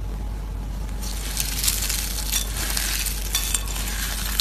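Crumbled orange dried soap curls in a plate are pressed and crushed with fingers and a palm. A steady low hum sits under quiet hiss at first, then from about one second in a dense, bright crackling crunch takes over, with sharp dry snaps breaking through here and there. The shavings give a brittle, crispy crunching throughout.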